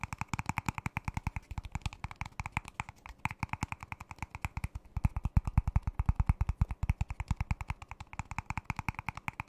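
A thin, ribbed, disposable clear plastic cup, empty and hollow, is held upside down in one hand close to the microphone and tapped with the fingertips and fingernails. It makes quick, uneven, closely spaced taps, each a short dry knock with a deep thump and a hollow plastic tick above it that dies away almost instantly.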